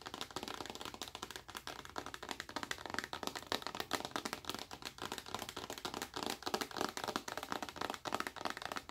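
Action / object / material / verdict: tap / rigid plastic lotion bottle / plastic / none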